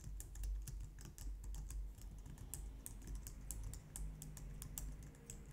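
Long painted nails and fingertips type on a low-profile white/light-grey plastic wireless keyboard resting on a glitter mat on a wooden desk. A steady stream of quick, bright plastic taps and clicks rises over a constant low rumble.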